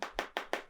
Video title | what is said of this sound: Xiaomi Mi 10T Pro 5G Unboxing & In Depth First Look - 144hz Refresh Rate | although it sounds plastic but it is glass, front and back